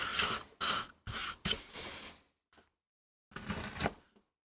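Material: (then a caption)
MDF. A gloved hand pushes a wooden-handled metal gouge across a small, flat, palm-to-hand-sized solid MDF board inked with a rose design, resting on a rubber mat while the other hand holds it. Six separate bright, hissy carving and scraping strokes are heard, including one faint short one, with brief silences between them.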